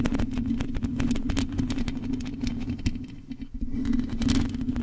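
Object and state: Metal mesh microphone grille.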